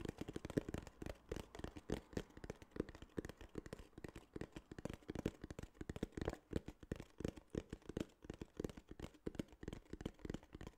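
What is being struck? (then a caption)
Small kraft cardboard box. Fingertips tap and scratch a small, hollow, tan kraft cardboard case in a quick, steady series of soft, dull knocks. Each tap is a short, low, hollow thud that dies away almost at once, with light scratchy rustling between them. The sound stays quiet and close throughout.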